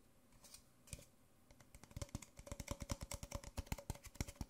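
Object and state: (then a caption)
Empty paper coffee cup. An empty white disposable paper Nespresso coffee cup, small and hollow, is held upside down in one hand and tapped on its base and sides with fingertips and nails. A few soft, scattered taps build into a quick, uneven run of short, dry, hollow knocks. The knocks have low thuds and crisp clicky tops, with a faint steady tone running underneath.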